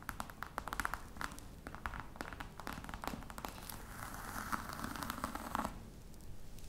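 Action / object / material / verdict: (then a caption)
tap / embossed faux leather covered box / faux leather / none. Long red nail tips tap rapidly on top of a flat, hollow black box covered in embossed faux-crocodile leather. Each tap is a short, dry click with a hollow mid-range knock and almost no ring. Soft scratchy texture fills the gaps until the tapping fades to a quiet hiss near the end.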